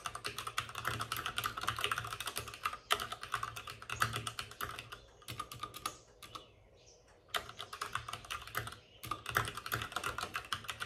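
Both hands rapidly tap with their fingertips on the plastic keycaps of a white, backlit RGB mechanical computer keyboard that sits on a desk with a padded wrist rest. The result is a dense stream of short, bright clicks with very little ring, broken by a brief quiet pause near the middle before the fast typing resumes.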